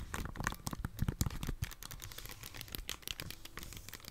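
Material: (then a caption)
Plastic. A handheld Nintendo Switch with a hollow plastic body, glass screen and red and blue Joy-Con controllers attached is held in both hands while long dark-painted nails tap it and press its buttons. Quick, irregular dry clicks and soft low taps patter close together, each stopping at once with no ring.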